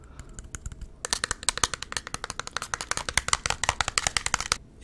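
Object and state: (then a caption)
Glass perfume bottle with metal cap, tapped with fingernails. Fingernails tap and scratch a clear glass perfume bottle with a silver cap and red-striped silver sleeve. A second of faint scratching gives way to a quick run of sharp, bright, clicky taps with almost no ring, which stops abruptly near the end.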